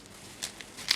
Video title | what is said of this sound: Pain longue fermentations | Ça croustille un petit peu. on entend, c'est parfait.